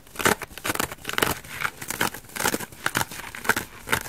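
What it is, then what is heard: Foam bath sponge being scratched. A dry elliptical bath sponge of coarse orange foam with a white foam layer, held in one hand, is scratched and picked at with long dark nails and may be starting to tear. Irregular bursts of dry, crackly scratching and soft tearing follow one another at a brisk, uneven pace, bright and hissy with little low end and almost no ring after each stroke.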